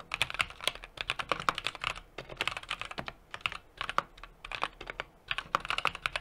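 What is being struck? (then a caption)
Mechanical keyboard with metal case and plastic keycaps. Fingertips type continuously on a small 60% mechanical keyboard with an aluminum case, brass plate and plastic keycaps. Quick bursts of short, crisp, bright clacks, centered around 1.1 kHz, are broken by brief pauses. Each keystroke dies away almost instantly, with very little low end.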